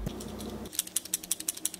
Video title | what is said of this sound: How to DUPLICATE your figures! Its so Easy! | he even rattles when you shake him